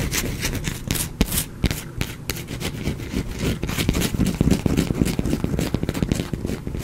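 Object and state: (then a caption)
Bar of soap scraped with fingernails. A small, solid, pale bar of soap held close to the microphone is scratched and scraped with fingernails, with flakes falling onto a cloth below. The result is a dense, continuous run of crisp, crackling scrapes and short sharp ticks over a close, full low-end rumble, with brief brighter bursts standing out from the steady texture.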